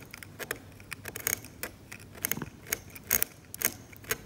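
A metal scalpel scrapes the paint layer of a glossy, cracked, varnished oil painting on canvas in rapid, short strokes. Each stroke is a quiet, crisp, bright scratch with very little low end. The scratches come in an uneven run of brief bursts that stop dead with almost no ring.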